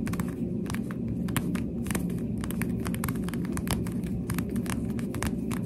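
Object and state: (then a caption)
Plastic sunglasses tapped. Pink plastic sunglasses, held by the frame, have their lenses and frame tapped with the finger pads of a hand with long nails. Quick, soft, dull taps with brief bright clicks come in an irregular stream over a steady low hum around 145 Hz.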